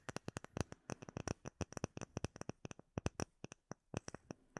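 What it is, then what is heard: Acrylic plate tapped with fingernails. Fingertips and short nails tap and scratch a flat, solid, clear acrylic plate about hand size with embedded air bubbles, held in both hands in front of the microphone. About thirty quick, dry taps come in an irregular run, each with a low knock and a bright click that dies out almost at once.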